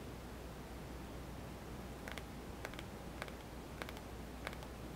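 Fingertips and nails tap the glass screen and edge buttons of a small white touchscreen mobile phone with a hollow plastic body, held in one palm. After a couple of seconds of quiet low hum, a loose series of light, bright clicks and ticks begins, each dying away quickly.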